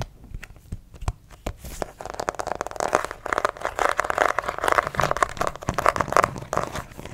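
Fingernails scratch a white plastic acupuncture doll, likely hollow, on its back. A few sparse, light clicks give way to dense, crinkly scratching bursts that pulse steadily, centered in the midrange with a dry, short decay.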